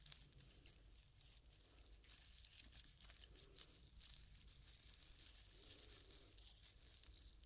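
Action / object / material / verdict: scrape / whole coconut with fibrous husk / coconut fibre / none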